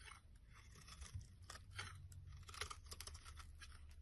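A solid oval bar of green soap, held in the hand, is shaved into long curls with a metal blade. Soft, crisp crunching and scraping strokes repeat over a steady low rumble, with brief bright bursts as the blade cuts through.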